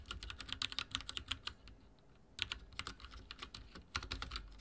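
Fingertips type on a backlit mechanical keyboard with dark plastic keycaps, producing a quick run of sharp, bright clicks. The clicks pause briefly in the middle, then resume at a steady pace. Each keystroke is short and crisp, with almost no ring.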